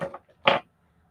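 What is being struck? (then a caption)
Small resin pieces with stone inclusions. Small decorative resin pieces with bits of stone inside, sitting by a leg, are touched and knock together in two bright, short clinks that almost sound like glass. The second clink is louder, and each fades within about a tenth of a second. Despite the glassy ring, the pieces are definitely resin.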